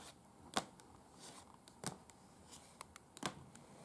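Long acrylic nails on both hands tap and scratch a large, unfolded, thin printed paper museum guide sheet lying flat on a bed. Quiet, crisp, dry taps with bright, papery high edges stand out over a soft, continuous scratching rustle. The clicks are sharp and short, and they die away almost instantly.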